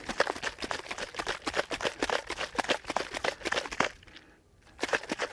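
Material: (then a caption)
Cream. A jar of cream is shaken further as it churns into butter, giving rapid, somewhat irregular sloshing thumps with a mid-range body around 540 Hz and bright splashy edges. The shaking pauses briefly near the four-second mark, then resumes. The sound is growing softer as the fat clumps together, and the butter has formed.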